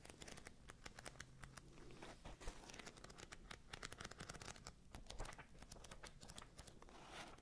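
A thick paperback book with a red and blue cover has its pages flipped and riffled by hand close to the microphones. The result is a quiet, dense run of crisp paper flicks and soft crinkles, each dying away almost instantly, over a low rumble.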